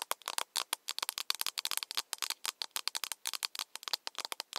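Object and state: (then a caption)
Plastic cup tapped. A small, empty, hollow plastic cup, held in both hands, is tapped on its side with long nails in a rapid, irregular flurry of dry clicks. The sharp, bright ticks stop almost instantly, with no low end and no lingering ring.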